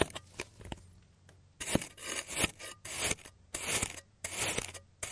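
A clear plastic knife cuts across a blue kinetic sand block, already sliced into a solid oval on a green surface, crosshatching the sand. After a few faint ticks, long bright, gritty scraping strokes follow one after another, each a dense rasping hiss that stops abruptly.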